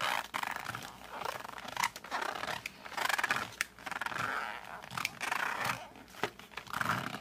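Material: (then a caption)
Cardboard. Fingertips rub the front of a flat cardboard colored pencil box, then the box is flipped and its back flap is gripped with fingers and thumbs. Close, dry scratching and rubbing swells and fades in waves, with squeaky midrange tones and bright, crackly edges.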